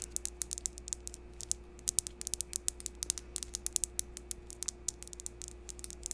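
Long pink acrylic nails rapidly tap and scratch the face of a palm-sized, solid, smooth, round, translucent green polished crystal palm stone held over the microphone. About forty quick, bright clicks sound over a quiet background with a steady low hum and a faint constant tone.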